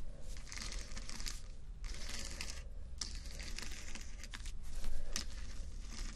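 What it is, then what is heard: Plastic rhinestone strips scratched. Fingernails scratch across rows of small plastic acrylic rhinestone sticker strips set on fabric, making a steady stream of bright, crinkly, rasping scrapes. Sharp little clicks stand out now and then over a constant low hum.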